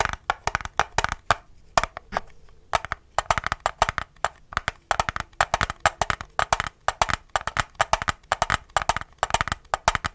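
A plastic N64 game cartridge is tapped with fingertips, both near and directly on its sticker, and the tone sounds different between the two spots. Quick bursts of dry, hollow clicks centered around 690 Hz die away almost instantly, separated by brief pauses.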